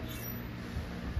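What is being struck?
Nothing is struck.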